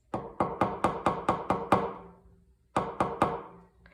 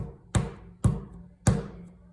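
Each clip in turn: First: dry hardened clay. Second: wet clay.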